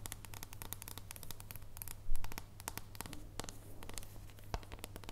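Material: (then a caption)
Chocolate. Long painted nails scratch and tap the surface of a thin solid dark chocolate bar held at an angle, making rapid, dry, crisp clicks and scrapes. The taps are short and bright over a steady low hum, with one louder burst of scratching just past the two-second mark.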